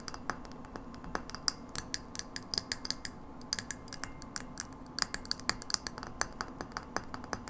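Long nails tap and scratch the hollow glass globe of a frosted glass light bulb held in a hand. The result is a rapid, irregular run of sharp, bright clicks with very short ring, set over a faint low hum and soft scratching between the taps.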